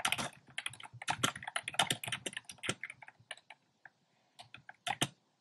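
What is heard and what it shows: Fingertips type on a compact plastic mechanical keyboard with a black plastic case and round pastel plastic keycaps. Quick, bright, clacky keystrokes come in dense bursts and die away almost at once. The typing thins out toward the end, with sparse single presses and a final short flurry.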